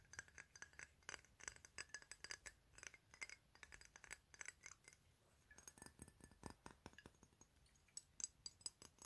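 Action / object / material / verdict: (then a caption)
tap / glass perfume bottle / glass / none. A square clear glass perfume bottle holding pinkish liquid is turned in the hands and tapped with fingernails. About 44 quick, bright, high-pitched clicks and clinks with almost no ring come in uneven bursts, with a brief lull near the middle.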